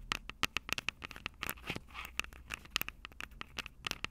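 Long purple acrylic nails tap and scratch the two metal microphone capsules of a small black plastic Tascam DR-05 handheld recorder held upright. It makes a rapid, uneven run of sharp, bright clicks that stop instantly with no ring, centred around 2.7 kHz, with softer scratchy rustles between the taps.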